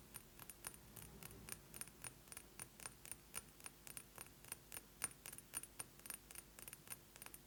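A glass perfume bottle is tapped quickly with fingernails, giving about 35 short, bright, glassy clicks with a faint jangle. The taps come in an uneven rhythm, each dying away almost at once over a soft, steady background hum.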